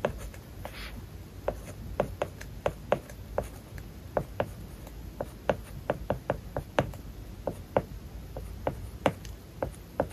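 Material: Plastic film.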